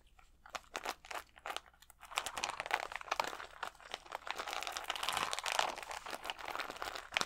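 Fingernails scratch the acrylic gems on a clear plastic rhinestone sticker sheet held against the chest. Sparse crisp clicks and crinkles in the first two seconds build into dense, continuous, bright crunchy scratching with fast-decaying ticks.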